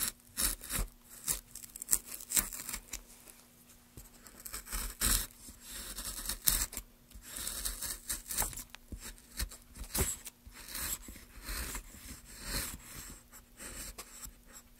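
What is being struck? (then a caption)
Basswood block. A wooden-handled chisel, held in gloved hands, scrapes and gouges a solid pale basswood block with carved relief, lifting curls of shavings. Repeated crisp, tearing scrapes and short gouging bursts with bright, high edges come in uneven strokes over a faint steady low hum.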